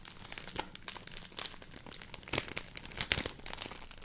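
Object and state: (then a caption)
Rice paper sheet. A large folded sheet of white rice paper is crinkled and rubbed by hand with long nails. The clip is a dense run of bright, crisp crackles and rustles, most of the energy high. Sharper snaps stand out around 1.4, 2.4 and 3.1 seconds.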